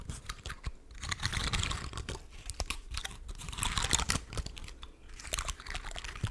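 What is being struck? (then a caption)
Woody pine cone. Long nails scratch and flick the open scales of a large, dry, woody pine cone held close to the microphone. Dense, irregular dry clicks, crackles and scratchy rasps come in quick bursts, bright on top with a soft low rumble underneath, and each flick dies away almost at once.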